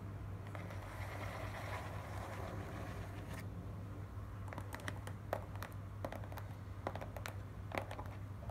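Long nails quickly tap and scratch the top and front side of a small, hollow, closed and stapled corrugated cardboard shipping box. A few seconds of soft scratching give way to a run of sharp, bright taps. A steady low hum sits underneath throughout.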